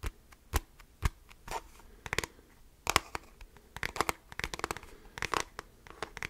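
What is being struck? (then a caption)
Plastic calculator casing. The hollow beige plastic back of a handheld device, likely a graphing calculator, is held horizontally and scratched with the fingertips and nails of both hands. Sharp, dry scratches and taps come in a quick, irregular series, sparse at first and then denser. Each has a bright, crackly edge, a hollow plastic tone around 1 kHz, and almost no ring.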